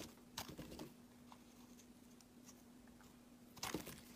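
A metal box-cutter blade shaves slices off a pale green solid soap bar, making crisp, bright crunching scrapes. A cluster of short scrapes comes near the start, faint quiet scratches fill the middle, and a louder crunchy pair of strokes comes near the end. A steady low hum runs underneath throughout.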